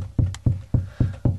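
Five low, dull knocks on drywall over a hollow cavity between studs, evenly spaced about a quarter second apart. Each is a short, boomy thud centered near 90 Hz that dies away quickly, giving the hollow sound of an empty wall cavity rather than a solid stud.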